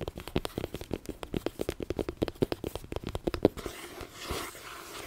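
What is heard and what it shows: Long painted nails rapidly tap and scratch the card cover of a held-up *Harry Potter and the Philosopher's Stone* paperback, its paper pages beneath. Roughly thirty quick, dry clicks with short low-mid knocks come first, then give way to a softer, hissy scratching across the cover.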